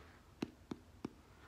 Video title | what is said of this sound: IM BACK! - HOLIDAY DINNER ROLLS. - | sounds hollow that means it's cooked all the way through even though it has stuffing in it